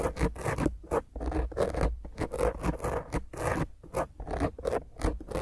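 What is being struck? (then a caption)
Foam microphone windscreen. Long grey fingernails on both hands scratch quickly and roughly across a black foam windscreen on a round microphone head. The result is a close, continuous run of harsh scratching bursts with a heavy low rumble and a bright, hissy top. The sound swells and dips in rapid strokes with short gaps between them.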